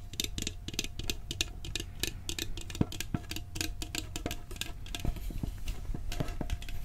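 A round, hollow blue steel cookie tin is held on its edge while its lid is tapped quickly with fingertips and nails. The result is a dense, uneven patter of short, dry clicks with a bright edge over a low, hollow thump around 150 Hz. A faint steady metallic tone hangs beneath the taps, and each hit dies away almost at once.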